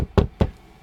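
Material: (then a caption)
Wood. Two knocks on a wooden desk, made to show that a knock on wood sounds like wood. Each is a short, dull, low thud that dies away almost at once, leaving a faint background.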